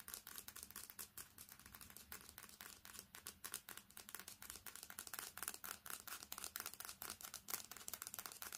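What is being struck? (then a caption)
Smartphone with glass screen and metal back. Long fingernails tap fast and scratch across the glass screen and edges of a smartphone with a metal back, held flat with the screen facing up. A quick, irregular stream of sharp, bright clicks comes through with dry scratching between them. Each tap is short, with almost no low end.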